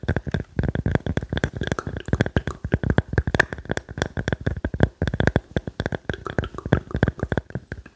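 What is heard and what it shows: A small round slice of solid wood with growth rings, held in the hands, is tapped and scratched rapidly with fingertips and nails. It gives a steady run of quick, dry, muffled knocks that die away instantly, mostly low and thumpy with a faint woody tone near 1.7 kHz and light scratchy texture between the taps.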